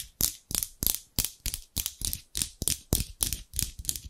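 Large steel scissors with dark handles, held in both hands, are repeatedly opened and closed so the blades slide and rub against each other. Each stroke is a short, bright metallic scrape with a faint low thump, repeating in a steady rhythm of about three per second.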